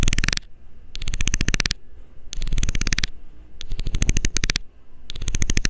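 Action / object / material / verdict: scrape / plastic screw cap scraped with a metal needle / plastic / none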